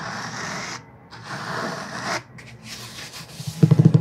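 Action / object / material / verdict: scrape / cloth-covered hardcover book / cloth / none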